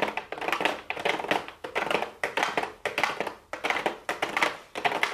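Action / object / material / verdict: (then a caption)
tap / cardboard box with plastic window / cardboard / none. Long blue acrylic nails tap rapidly on a small, hollow pink cardboard makeup box with a clear plastic window lid. Quick bursts of light, bright clicking taps come in clusters with short pauses between them, and each tap dies away almost at once.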